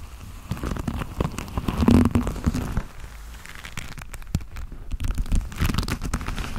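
Hands squeeze and rub the fingers and cuff of long black leather gloves close up, producing dense, muffled crinkling and creaking with soft crackles. The sound is heavy in the low end, swells loudest around two seconds, dips, and builds again in the last two seconds.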